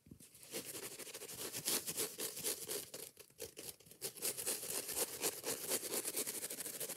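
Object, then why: Foam kitchen sponge with abrasive scouring pad. Long nails scratch fast and aggressively across the green abrasive scouring pad of a foam kitchen sponge held close. The result is a dense, rapid run of rough, bright scraping strokes with a hissy, crackly texture, briefly thinning out around the middle before picking back up.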